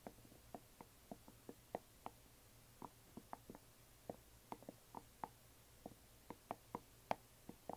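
A closed, hollow yellow glitter resin or plastic coffin box lies flat and is gently tapped on its sides with long nails. About seventeen light, quick clicking taps ring only briefly, with a mid-pitched hollow tone. They fall at an uneven pace over a low, quiet background hum.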